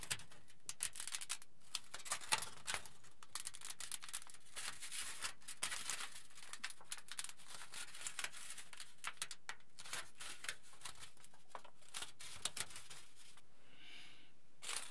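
A pleated aluminium foil sheet is held in both hands and pulled and stretched so its folds crinkle. It makes a steady, dense stream of bright, crackling crinkles with frequent sharp snaps. The sound eases into a softer rustle near the end before a final burst.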